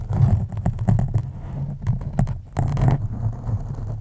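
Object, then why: Foam microphone windscreen. Long acrylic nails scratch the sides and top of a black foam windscreen on a microphone. The result is a deep, muffled, rumbling scratching, almost entirely low in pitch, with short crackly scrapes and a longer, fuller rub near the end.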